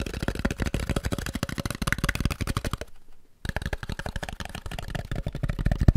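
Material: Polystyrene.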